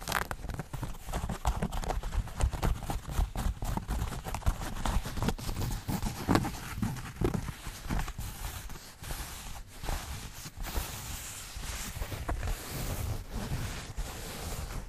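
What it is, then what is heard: Denim jeans scratched and rubbed. Fingertips and nails scratch and rub light-wash denim jeans, a flexible cloth with a pocket and seams, held right by the microphone. The result is a dense, continuous stream of close, low-heavy rustling and scraping, broken by quick scratchy bursts and brief quieter stretches.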